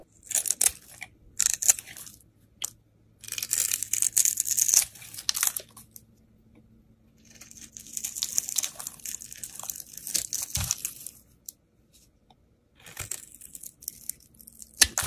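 A steel utility blade shaves and carves the edge of a hand-held, solid, embossed cream bar soap into curls. Bright, crisp scraping and crunching comes in bursts separated by short pauses. Thin soap curls peel away from the bar.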